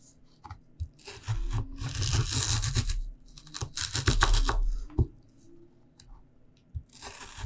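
A peeled, raw, solid purple sweet potato is held on a board and sliced into thin rounds with a red knife. Each cut gives a crisp, bright, tearing crunch, and the blade knocks dully against the board. The strokes come in quick, uneven bursts with short pauses between them.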